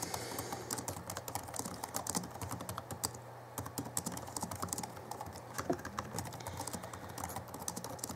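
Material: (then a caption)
Plastic. Fingertips of both hands type rapidly on the backlit chiclet keyboard of an Alienware M11x R2 (2011) laptop with plastic keys. The result is a dense stream of quick, dry, clicky key taps with bright edges, over a steady low hum.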